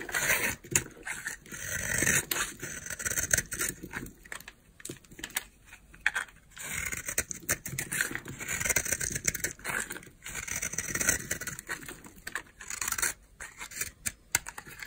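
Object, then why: Bar of soap carved with a knife blade. A utility knife blade scrapes and carves a solid white oval bar of dry soap held in the palm. The result is a stream of crisp, crunchy, bright scraping bursts, mostly high in pitch with little low end, separated by short pauses.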